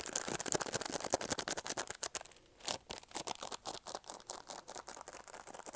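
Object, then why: Small printed cardboard box. A small, hollow, pink printed cardboard product box is held upright close by and scratched and tapped with fingernails. Quick, dry, bright taps and scratchy rasps come in a rapid, uneven run, with almost no low end and a brief pause partway through.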